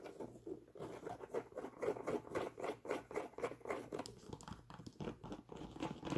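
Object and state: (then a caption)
Nubuck leather boot scratched with nails. Long nails scratch the tan nubuck leather of a Timberland boot and tug at its laces and tag. The result is a quiet, rapid, somewhat irregular run of short, dry, scratchy strokes, about three to four per second. The sound is mostly midrange, with little low end and only faint brightness.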